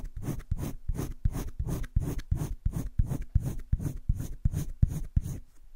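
A green wooden colored pencil makes dense shading strokes on a flat, spiral-bound paper sketchbook page. It produces a steady run of short, rhythmic scratching rubs, each stroke a low, dry scrape with a faint bright hiss. The strokes come quickly, almost three per second, with slightly uneven timing.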